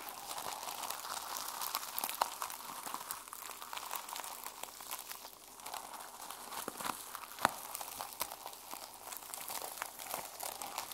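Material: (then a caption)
Plastic. Fingertips and long nails scratch and brush the plastic sequins on a small sequin-covered mermaid journal held in the hands. The result is a steady, quiet, crinkly rustle full of tiny dry clicks, bright and centered in the upper mids. A few sharper ticks stand out, with the clearest near the middle of the clip.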